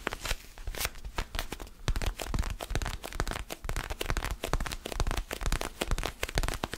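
Fingernails scratch and rub a small solid orange foam basketball stress ball held in one or both hands. The result is a dense, irregular run of close-up dry scratching and crinkly, crunching bursts with a low rumble underneath and a bright, papery edge.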